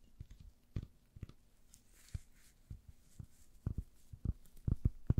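A hand-sized, rectangular, soft and porous yellow foam sponge is scratched and squeezed with long nails by gloved hands. The result is a string of short, dull, low-pitched scrapes and soft squishes that grow louder and come closer together toward the end.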